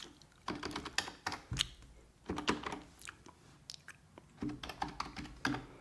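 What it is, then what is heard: Plastic computer keyboard. Fingertips with red-painted nails type on a full-size black plastic computer keyboard resting on a wooden desk. Bursts of quick, dry key taps come in short clusters with brief pauses, each click sharp and bright with almost no ring.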